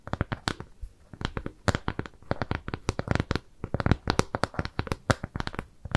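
A flat, round, brown kraft cardboard shape with jute trim is held in both hands and scratched and tapped with long nails. The result is a steady run of quick, dry tapping and scratchy clicks, each sharp and short with no ring, varying in loudness throughout.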